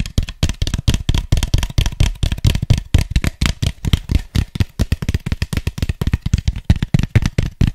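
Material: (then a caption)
Polystyrene foam. Fingertips and nails tap and scratch the sides and base of an empty, hollow white styrofoam cup. The result is a rapid, uneven run of short, dull, low thuds, each dying away almost at once, with faint bright scratchy edges between them.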